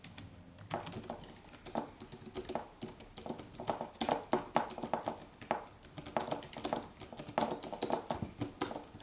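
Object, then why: Aluminium keyboard with plastic keys. Fingertips type in continuous taps on a slim Apple wireless keyboard with an aluminium body and white plastic keys, resting on a white desk. Dense runs of light, crisp clicks come in uneven bursts, with a mid-pitched body and a bright, short tick on each keystroke. Each tap dies away almost at once.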